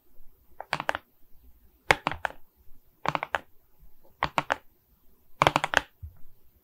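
Long red nails tap the surface of a diamond painting made of small faceted plastic resin beads on a framed board held in both hands. Quick bursts of crisp, bright, clicky taps come in short clusters with brief quiet gaps between them. Each tap dies away almost instantly, with little low-end body.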